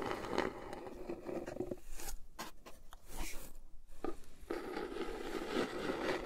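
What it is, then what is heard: Cardboard box tapped and scratched. A small brown printed cardboard mug box (MugSafe), hollow and held upright in both hands over a fluffy surface, is tapped and scratched on its flat sides with long painted acrylic nails. Dense, muffled scratching and rustling fill the start and end, broken in the middle by sharper, brighter taps with quieter gaps between them.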